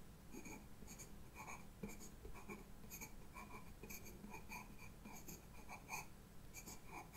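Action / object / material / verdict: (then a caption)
scrape / pastel pencil on sketchbook paper / paper / none. A white pastel pencil, held by a hand with long red nails, scratches and draws lines across flat black drawing paper in a sketchbook with a solid backing. Quiet, dry scratching strokes come in short repeated bursts with a bright, high grainy hiss over a low, steady background rumble.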